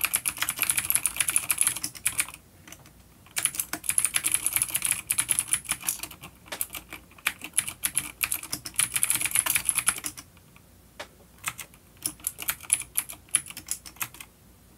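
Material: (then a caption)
Plastic. Fingertips of both hands type on a full-size dark plastic vintage mechanical keyboard with clicky blue switches and grey keycaps, resting on a wooden desk. Bright, sharp clicks come in rapid bursts separated by brief pauses, each keystroke dying away almost instantly.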